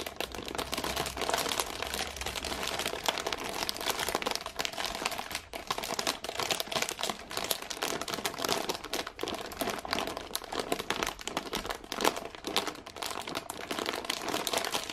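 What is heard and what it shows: A medium cardboard gingerbread box, sealed in thin printed plastic film with a clear window and full of biscuits, is held in both hands and squeezed with fingertips and long painted nails. It makes dense, continuous bright crinkling with rapid tiny crackles and almost no low end.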